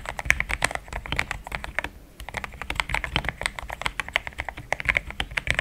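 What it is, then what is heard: Plastic mechanical keyboard. Fast typing with the fingertips of both hands on a compact pink-white mechanical keyboard with thick plastic XDA keycaps, a polycarbonate plate and linear switches, resting on a desk mat. Rapid, short, bright clacks with a tone around 2 kHz die away almost instantly, with a brief pause near the two-second mark before the typing resumes.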